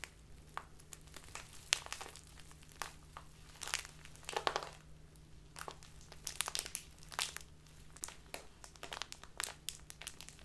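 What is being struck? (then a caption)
Thin plastic bag filled with loose tea. A small, clear, crinkly plastic bag filled with loose tea is held in both hands and squeezed and folded with fingertips and long nails. This makes irregular bursts of bright, sharp crinkling and crunching over a faint steady low hum, with no talking.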